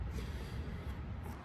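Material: Nothing is struck.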